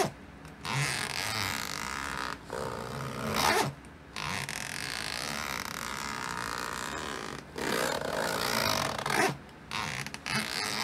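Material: Nylon.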